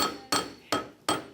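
A steel coat hanger is banged near an anvil to show that steel is tough and rigid. Three sharp, bright metallic clanks each ring with a clear tone around 1.3 kHz and die away within a fraction of a second, following the fading tail of an earlier strike.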